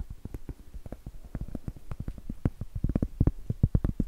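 Long blue nails tap and scratch across a large, round, solid cork board held upright. The result is a quick, uneven run of short, dull, low thuds with almost no ring, and faint scraping between them.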